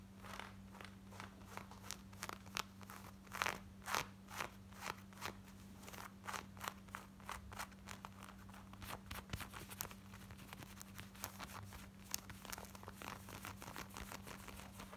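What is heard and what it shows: Long nails rapidly scratch worn, light blue distressed denim shorts, moving over the waistband, back pocket and front. The result is a quiet, continuous run of dry, crackly scratching strokes with bright texture, layered over a steady low hum.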